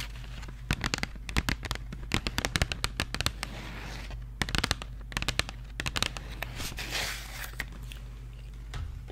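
A small, hollow Crayola cardboard marker box is turned in the hands while long nails tap and scratch its front, sides and back. Quick bursts of sharp, dry clicks and taps come in clusters, with a brief bright scratchy rasp near the end. A steady low hum runs underneath throughout.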